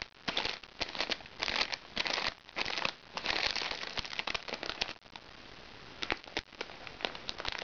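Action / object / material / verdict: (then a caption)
scrape / soft plastic-wrapped package / plastic / none. Fingertips and painted nails scratch and squeeze the crinkly plastic surface of a flat, soft plastic-wrapped package held upright on a lap. Bright, irregular bursts of crinkling and crackling alternate with short pauses. Midway the sound drops to a quieter, steady rustle broken by sharp little clicks.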